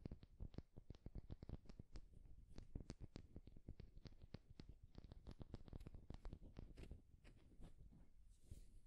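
A solid, egg-sized wooden egg held in both hands is tapped and rubbed with the fingertips and nails. Rapid, dry little taps and scratches follow one another closely at a soft level, each with almost no ring, over a heavy low-end rumble.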